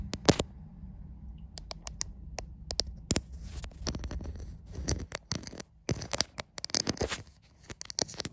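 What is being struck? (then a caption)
Smartphone with glass back, tapped by long nails. Long white acrylic nails tap and scratch the glass back of a white iPhone near its camera. Sharp, bright clicks come in uneven bursts with short scraping strokes between them, over a steady low background rumble.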